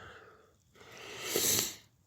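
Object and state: Nothing is struck.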